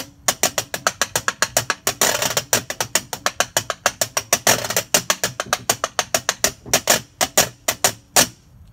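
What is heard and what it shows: A metal washboard with a ribbed corrugated panel in a wooden frame is held upright and scraped along the ribs with the fingers or a tool. It makes a fast, loosely rhythmic run of short, bright, dry rasping clicks, broken by two longer sweeping scratches near 2 and 4.5 seconds. It ends with a few spaced strokes that fade out.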